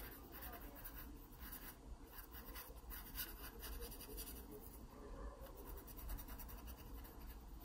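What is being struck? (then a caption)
Graphite pencil on a paper sketchbook page. A graphite pencil scratches and shades the stem area of a pear drawing on an open paper sketchbook page. Quiet, steady scratching carries repeated bursts of bright, papery hiss over a low, constant rumble.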